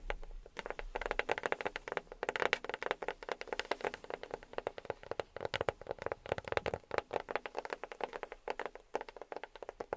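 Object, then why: Box tapped with silicone rubber fingertip pads. A box is tapped with silicone rubber pads on the fingertips. The result is a fast, continuous stream of soft, dull taps with very short decay, concentrated in the midrange around 500 Hz with little low end.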